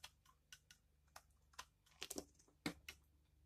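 A utility knife blade scrapes and shaves crunchy flakes off a hand-sized, solid, pale pink dried bar of soap held in the hand, with the bar turned during the stretch. About eleven short, crisp, bright crunching clicks are heard at uneven intervals over a quiet low hum, each dying away almost at once.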